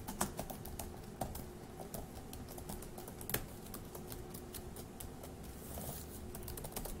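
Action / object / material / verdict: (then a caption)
tap / plastic laptop keyboard keys / plastic / none. Fingertips of one hand tap the plastic keys of a dark grey laptop keyboard, making a steady run of quick, light, bright clicks with a few louder taps. A low hum sits underneath the typing throughout.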